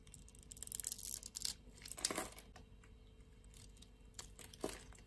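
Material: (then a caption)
Soap. A solid blue and white striped soap bar held in the palm has a scored grid scraped off as flakes with a utility knife blade. Dry, bright scraping and crinkly crumbling come in several bursts, the strongest around the middle of the clip, over a faint steady hum.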